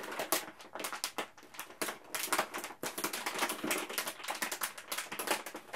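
A resealable printed plastic food pouch, partly full, is held in both hands and squeezed and crinkled with the fingertips. Dense, bright crackling bursts come in quick overlapping waves with almost no low end, each crackle dying away almost at once.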